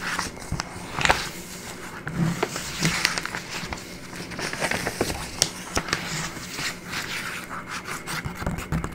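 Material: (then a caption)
Paper. Fingertips and nails rub and scratch across the pages of an open, thin, soft-cover printed paper booklet with a few pages, lying on a wooden table, flattening them. There is a continuous dry, papery rustle with bright scratchy crackles and short sharp clicks scattered throughout, over a faint low steady hum.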